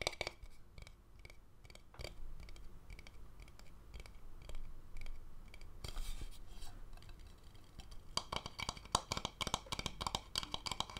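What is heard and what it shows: An empty, hollow wooden bowl is tapped and scratched with fingernails, first on its outer base and then on the inside and rim. Short, dry taps with quick decay sit over soft scratching with a low hollow body. Toward the end the tapping becomes denser and brighter.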